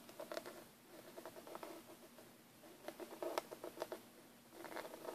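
Fingertips and short nails tap and scratch the lid of a closed, hollow, black textured hard plastic Hi-Line airbrush kit case, hand-sized and lying flat. Quiet clusters of quick, light taps and scratchy patter come in bursts, each with a hollow midrange tone around 630 Hz that dies away almost at once, with very little low end.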